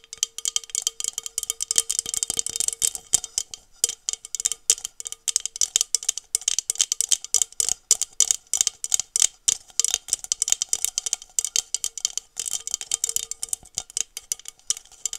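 A small, hollow, empty blue glass tumbler is held in one hand while long metallic nails tap rapidly on its side. The taps are bright, dry clicks that come in quick, uneven bursts and die away almost instantly, with a faint glassy tone ringing underneath.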